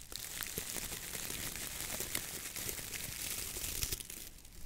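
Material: Coconut fiber.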